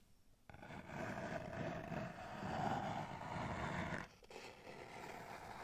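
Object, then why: Small cardboard box. Long nails scratch and scrape along the sides and edges of a small, hollow, empty-looking kraft cardboard box held in the hands. After a faint start, a steady papery scratching rises with a hollow midrange tone, grows busiest near the middle, then drops off briefly around four seconds. It resumes as softer, quieter scraping to the end.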